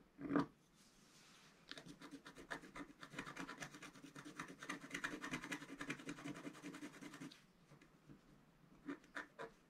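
A wooden stylus tip scratches fine lines into a flat black wax-coated scratch paper sheet resting on a table and held by one hand. After a brief sharp tap at the start, a dense run of quick, dry, rasping scratch strokes continues for several seconds, followed by a few isolated scratches near the end.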